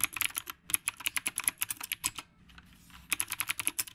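A retro typewriter-style mechanical keyboard with a dark body and round plastic keycaps is typed on with both hands, the fingertips pressing the keys throughout. Rapid, bright, clicky keystrokes come in quick bursts, with a short pause near the middle before the typing resumes.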